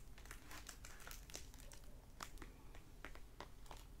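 Fingertips and nails tap and scratch the glossy plastic-wrapped paper dust jacket of a closed hardback library novel, "Tucker's Last Stand," resting on a wooden table. The result is a run of quiet, quick crinkling taps and brief bright scratches over a low background rumble. The book itself is solid.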